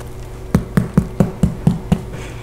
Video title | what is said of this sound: Irish Soda Bread, 2 ways 🍞 | you can tap it this is gonna be hot and it sounds Hollow